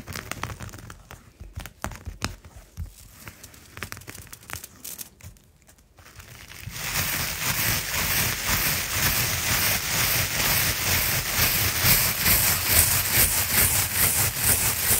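A round coiled jute rope mat is brushed with a natural-bristle brush that has a wooden handle, while the other hand rests on the mat. Sparse, crackly scratching and crinkling in the first six seconds gives way to steady, rhythmic strokes of dense, bright bristle scraping that continue to the end.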